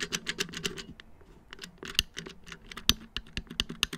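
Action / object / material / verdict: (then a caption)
tap / molded plastic back of a round wall clock / plastic / none. Fingertips tap quickly on the hollow, black molded plastic back of a round wall clock about 30 cm across, with its battery housing visible. The taps are rapid, dry and clicky, with bright, high-frequency snaps and almost no ring. A few stand out louder above a soft, uneven patter.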